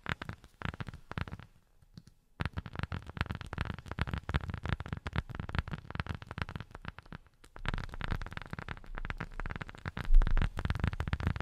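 A rubber sheet is tapped rapidly with silicone rubber finger pads, producing dense bursts of soft, dull, low thuds that die away almost instantly. The tapping pauses briefly near 2 seconds and again around 7.5 seconds before resuming, growing slightly louder toward the end.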